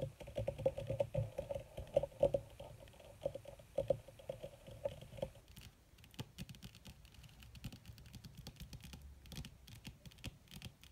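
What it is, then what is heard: Leather surface tapped with fingernails. Long red fingernails of both hands tap fast on a flat, black, crinkled leather or faux leather surface. For the first five seconds the taps come with a steady mid-pitched hum and a few sharper clicks. Then a denser, softer patter of quick, dry nail clicks continues to the end.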